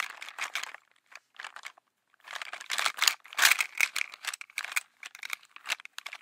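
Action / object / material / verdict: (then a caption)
scrape / sheer nylon mesh cosmetic pouch with items inside / nylon mesh / none. A small, sheer, translucent black polka-dot mesh/nylon makeup pouch, apparently holding some items, is held in both hands and scratched and tapped with long manicured nails. The result is bright, crinkly rustles and dry ticks, coming in uneven bursts with a short quiet gap near the two-second mark. The sound sits almost entirely in the high frequencies with no low end.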